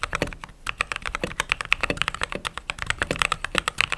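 Fingertips type fast on a mechanical keyboard with white/cream plastic keycaps, producing a rapid, steady stream of crisp, bright clacks. Each keystroke is short and dry, with little low-end thump and almost no ring.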